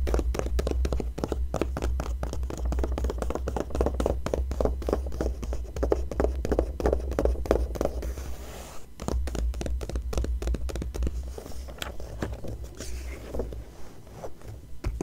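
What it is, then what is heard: Glossy paper magazine. Fingertips and long nails scratch and tap the glossy paper pages of an open magazine showing the same photo spread throughout. The result is a dense, uneven run of short, dry scratches and soft taps with little ring, over a steady low hum that drops out briefly near the middle.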